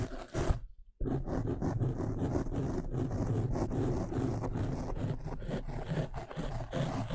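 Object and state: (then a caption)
Foam microphone windscreen being scratched. Bare fingertips and painted nails of both hands scratch and rub a soft, rounded black foam windscreen covering a microphone. A few brief rustles are followed by a near-silent gap of about half a second, then a steady, dense, low rumbling scrape that lasts to the end.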